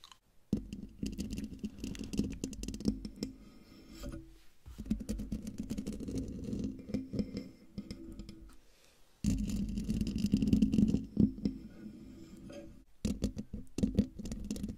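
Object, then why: Metal mesh microphone grille. Long dark fingernails scratch across the hollow metal mesh grille of a silver microphone. The result is dense, irregular rasping scrapes with a boomy, low-mid rumble, coming in several bursts separated by brief silences.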